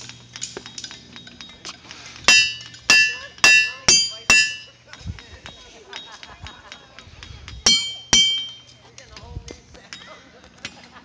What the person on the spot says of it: the rocks don't ring like bells as I hoped but it was still cool to take a hammer to them